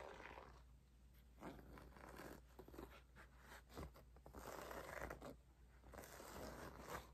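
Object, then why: Faux leather zip pouch. A flat, medium-sized white faux leather zip pouch with an embossed logo, apparently empty, is held up while long acrylic nails scratch and tap its surface. Soft, uneven scratching and rustling is heard, with scattered brief taps rising above a low steady hum.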